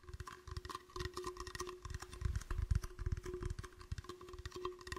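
An empty, clear, hollow plastic bottle is moved around a microphone while fingertips tap and squeeze it. Quick, dry, hollow taps and crinkles come in slow and fast runs, with deep thumps and brief bright clicks that die away almost at once. A steady faint hum sits underneath.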